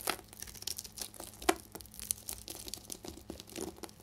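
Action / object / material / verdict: scrape / bar soap scraped with a metal knife / soap / none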